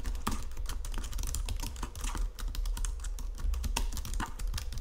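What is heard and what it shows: Fingertips and nails tap and press the keys of a white plastic Logitech keyboard resting on marble, producing a fast, continuous stream of short, sharp clicks. A steady low rumble sits beneath the bright clicking throughout.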